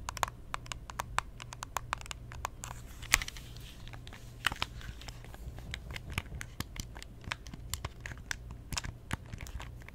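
Long nails tap and scratch the glossy shell of a pink plastic Nintendo DS Lite, a small hollow handheld console held open and then closed in both hands. Dozens of quick, dry, bright clicks with no ring are heard, mixed with soft scratching over a steady low hum.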